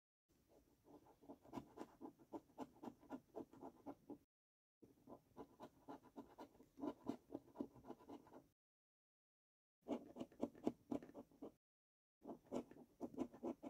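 A coin held in the fingertips scrapes the latex panels in the middle and right games of a paper scratch card lying on a wooden table. Quick, rasping strokes repeat about four times a second in four bursts separated by short silences. The scratching sounds dry and papery, with its weight in the low-mid range.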